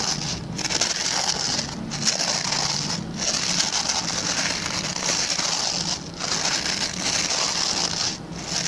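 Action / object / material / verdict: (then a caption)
scrape / plastic pin-bristle brush / plastic / none. Fingertips and short nails scratch the plastic pin bristles of a hand-sized, oval, white plastic brush. The result is a steady, dense, bright crackling scrape with a strong high hiss and little low end, easing briefly in short pauses before the scratching resumes.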